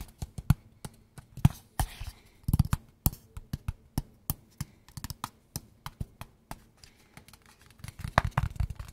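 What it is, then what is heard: Cardboard box. A small, hollow, kraft-brown cardboard box is held in both hands and tapped with fingertips and nails in a rhythmic pattern. Short, dry taps alternate low hollow thuds with brighter nail clicks, each dying away almost instantly, and the taps quicken into a denser flurry near the end.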